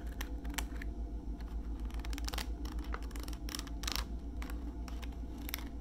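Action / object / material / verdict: tap / plastic pouch of wipes with flip lid / plastic / none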